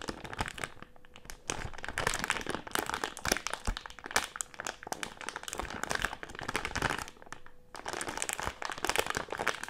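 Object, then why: Plastic-film candy bag with gummies inside. A medium printed plastic-film Haribo gummy candy bag with gummies inside is held up and crinkled and squeezed with fingers. Dense, bright crackling and crunching crinkles run through the clip, with brief quieter gaps near 1.5 and 7.7 seconds where a faint steady low tone shows through.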